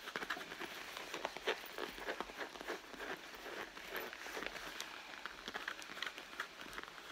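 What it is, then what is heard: Leather handbag being scratched. Long blue nails scratch and rub across the pebbled surface of a red leather handbag. The result is a steady, dry, crackling scrape made of many quick, short-lived ticks, bright in the midrange and upper frequencies with almost no low end.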